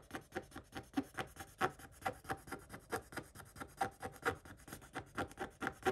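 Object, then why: Scratch-off coated paper page scraped with a wooden stick. A wooden stick scratches across a scratch-off coated paper page, leaving visible flakes. About two dozen short, dry scraping strokes come at a quick, uneven pace, with a raspy midrange texture and a faint bright hiss. Each stroke stops dead with no ring.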